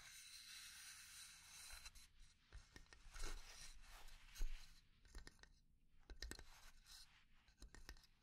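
Long nails scratch and tap a small hollow pine box with an engraved lid. A soft, dry scraping rustle runs throughout, broken by sharp, brief taps with a bright edge and a low knock. Each tap dies away almost at once.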